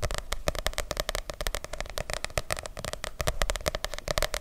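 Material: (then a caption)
Paper. A medium softcover paper book with a light blue cover is held close to the microphone and tapped and scratched with long nails. The result is a rapid, dense stream of short, crisp clicks and taps over a low, scratchy rustle, each one dying away almost instantly.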